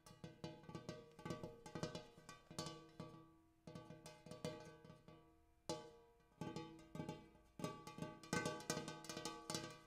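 Fingertips and nails tap and scratch inside the basin of a large, shallow, empty, gold-colored hammered brass bowl resting on a floor. Quick clusters of light metallic taps set off bright, bell-like ringing tones with steady pitched overtones around 1.5 kHz. The tapping pauses twice, letting the shimmer fade before new bursts start.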